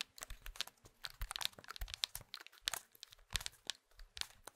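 Fingertips press the rubber keypad buttons and tap and scratch the plastic shell of an old, hand-sized Nokia mobile phone. The result is a quiet, close stream of crisp clicks and scratchy, crinkling scrapes. The sound is mostly bright and dry, with no ring after each touch.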